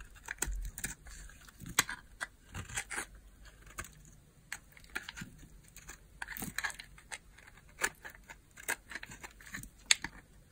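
A small, solid cream bar of hard soap is held in the hand and carved with a utility knife blade that scrapes off thin curls. Quiet, bright, crisp scraping and crackling cuts come in short, separate strokes, each with a sharp dry onset and almost no ring.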